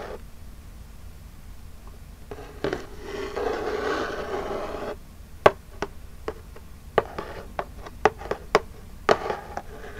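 Long jeweled nails scratch and rub across the front face of a small, flat, printed Birchbox cardboard box held upright, making a hollow, papery scraping that swells over a few seconds. A quick run of sharp, dry taps on the hollow box follows, each short click dying almost instantly over a faint low background hum.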